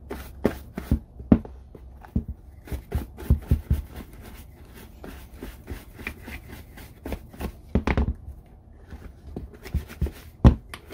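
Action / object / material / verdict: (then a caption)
scrape / leather boot / leather / none. A red handheld applicator brush is rubbed rapidly across the upper of an empty, hollow brown leather Red Wing Iron Ranger boot held in the hand. The result is a quick, uneven series of short, soft brushing and scuffing strokes, dull and low-heavy with little brightness. Each stroke dies away almost immediately.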